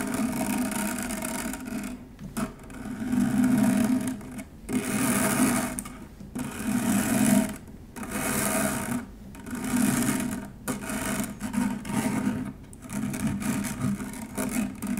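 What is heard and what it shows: Long nails rapidly scratch a stainless steel wire-mesh strainer, making a dense, buzzing rasp with a steady low hum around 250 Hz and a bright, hissy top. The scratching comes in repeated bursts of a second or two, separated by brief quieter gaps.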